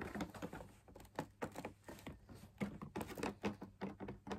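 Fingertips and nails tap the outer wall of a hollow, perforated, fabric-laminated drum lamp shade. A quick, uneven run of light, dull taps and patters follows, each with a short hollow knock that dies away almost at once, over a faint low hum.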